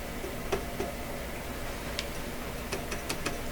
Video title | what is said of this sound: 1929 Victor RE-45 Video #11 - Bad Choice? | I tap this tube I can hear it in the speaker